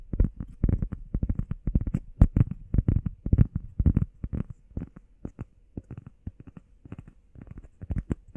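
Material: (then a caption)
Foam. A grey textured foam heart-shaped workout pad, flat and solid, is tapped and scratched with fingertips and nails on its face and edge. The result is a quick, irregular run of dull, low thuds with soft scratchy brushes, each dying away almost instantly with no ring.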